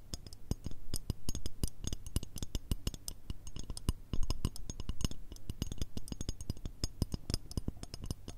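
A long, curved, shiny gold/chrome metal shoehorn, a thin solid strip held in both hands, is tapped and scratched with long red nails. Rapid, dense, dry taps land in quick succession, each a low thump with a bright, high click that dies away almost instantly, with faint scratching between them.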